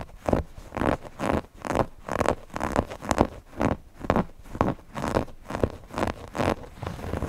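Fingernails scratch the stitched appliqué eye on a stuffed cotton owl cushion. Short, dry, rustling scrapes repeat at a steady, slightly uneven pace of about two strokes per second. The scrapes are mostly in the low-mid range, with little bright content and no ringing after each stroke.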